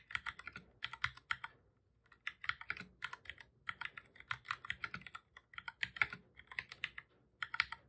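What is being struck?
Plastic computer keyboard.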